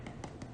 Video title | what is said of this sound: Eclairs and Profiteroles with Pastry Cream! | if you tap it it sounds Hollow